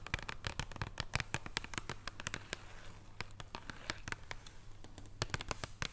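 Long purple nails on both hands tap a flat, thin wrapped chocolate bar in printed cardboard packaging lying on a wooden table. The result is a rapid, irregular run of short, dry clicks and crackles with a faint low hum underneath.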